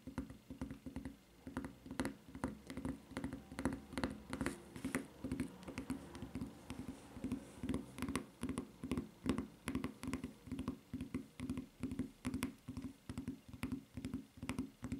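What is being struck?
Rubber flip-flop tapped with fingernails.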